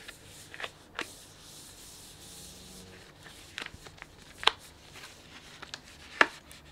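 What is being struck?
Plastic snack bag with sunflower seeds.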